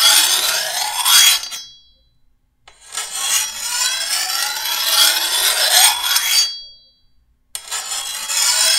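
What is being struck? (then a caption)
Steel machete blade and hand file. A hand-held steel file is drawn along the edge of a long, thin, solid steel machete blade in three separate passes, with the last one cut off at the end. Each pass is a bright, high rasping scrape carrying a steady metallic whine near 3.3 kHz, with almost nothing in the low end and near-silence between strokes.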